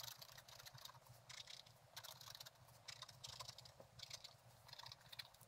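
A thin wooden stylus scratches sparse strokes across a flat page of black-coated scratch-art paper with a gold underlayer, bound in a book. Short, bright, raspy scratching bursts come and go over a faint, steady low hum.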